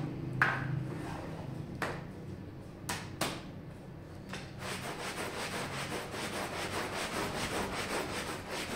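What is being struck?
Wool pile rug scrubbed with a plastic bristle brush.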